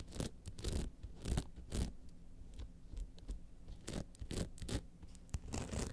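Long nails of both hands scratch down the rhinestone-studded front of an upright, hollow rhinestone-covered clutch bag. Repeated quiet scraping strokes produce bursts of bright, gritty rasping over a low hollow rumble.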